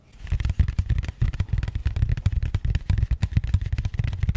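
A small, rigid, matte grey cardboard box, likely empty, is held in both hands close to the mic and tapped and scratched with long painted nails. The result is a quick, steady run of dull, deep thumps with a faint scratchy texture, each tap dying away almost instantly.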